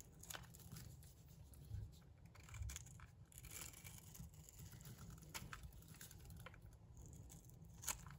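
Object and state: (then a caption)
Dry bar soap being scraped. A cream-white bar of dry soap, held in the hand, is scraped with a metal blade that shaves off curls. Quiet, crisp scraping and bright crackling ticks come through over a steady low rumble.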